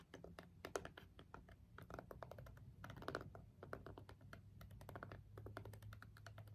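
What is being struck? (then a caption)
Plastic remote with rubber buttons. A green jade stone face roller is rolled over and pressed against a small, hollow plastic LED remote with rubbery push buttons. It produces a rapid, irregular stream of short, dry button clicks and soft taps over a steady low hum.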